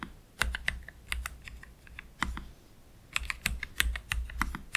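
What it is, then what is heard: Low-profile mechanical keyboard, plastic keycaps. Both hands slowly type with their fingertips on a black Keychron K3 Pro low-profile mechanical keyboard with Gateron Red switches and plastic keycaps, resting on a desk mat. Each press gives a short, dry clack with a bright top and a soft low thud, arriving in uneven bursts with quiet gaps between them. At the end, one hand moves away.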